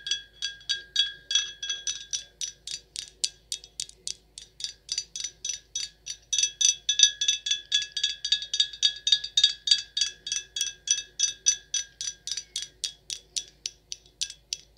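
A full, sealed dark glass red wine bottle with a paper label is tapped with long acrylic nails in a quick, slightly uneven run of about 55 light clicks. Each tap gives a brief, bright glassy clink with faint pitched tones near 1.6 kHz and 3.3 kHz and very little low end. The taps grow louder from around the middle of the clip.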